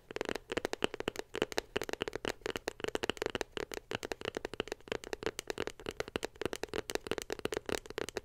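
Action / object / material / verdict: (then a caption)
tap / small glossy cardboard box / cardboard / none. Long pink nails tap rapidly on a small white glossy cardboard iPhone box held beside the mic. The sound is a fast, steady stream of dry, sharp clicks that die away almost at once. Each tap carries a hollow low-mid tone with a bright crisp edge.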